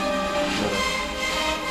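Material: Nothing is struck.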